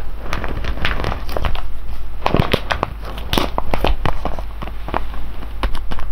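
A large sealed silver foil-laminate coffee bag, full of whole beans and resting on cloth, is pressed, squeezed and rubbed with the fingertips of both hands. The result is continuous crinkling and crackling, with many short, sharp snaps over a dense, heavy low rumble as the beans shift inside.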